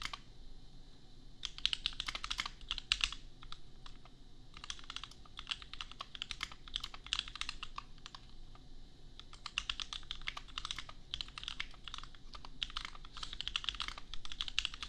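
A $250 custom compact 65% mechanical keyboard with Gateron Milky Yellow switches and red and pink plastic keycaps, resting on an anime desk mat, is typed on rapidly with the fingertips of both hands. Dense bursts of short, bright clacking keystrokes centered around 2.8 kHz stop almost instantly. Brief pauses near 4 and 8.5 seconds interrupt the otherwise steady typing.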